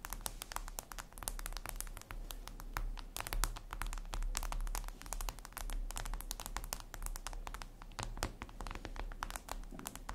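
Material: Glass.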